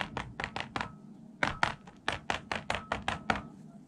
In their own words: Смотрите, помните, как раньше звенели пружины, а сейчас? Слышите? Более глухой звук стал. Отлично.